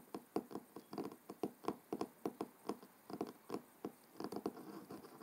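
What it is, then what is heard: Cloth-covered hardcover book. Fingertips and short nails of both hands tap and knock rapidly on the front cover of a closed, thick, solid hardcover book with a dark blue cloth cover resting on a wooden table. The result is a quiet, uneven patter of soft, dry, muffled knocks with a low-mid body and almost no ring, bunched in quick clusters with brief pauses between them.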